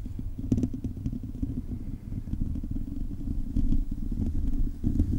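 Fingertips and short nails of both hands scratch a hollow, silver metal mesh microphone grille. The result is a dense, low, rumbling scratch with a steady rasping texture and a faint tone around 250 Hz. Brief, brighter clicks rise out of it now and then.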